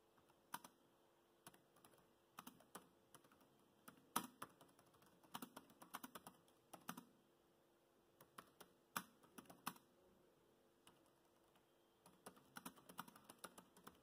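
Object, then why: Plastic laptop keyboard keys. Fingertips of both hands tap the black plastic chiclet keys of a grey laptop in continuous typing. Quiet, crisp plastic clicks come in uneven bursts with short pauses between them, each click dying away almost at once. A faint steady hum sits underneath.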